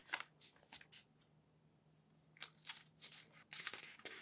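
An open newsprint newspaper lies on a table while a hand lifts and turns a page, then palms smooth the thin paper sheets flat. Quiet, bright crinkling and rustling bursts come in short clusters between soft pauses, over a faint steady low hum.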